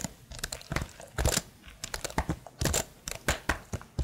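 Long nails tap the keys of a tilted plastic laptop keyboard in an uneven, clip-clop-like rhythm. Each tap is a short, dry click with a dull low thump and a bright tick on top, dying away almost at once. The taps come in quick clusters over a faint background hiss.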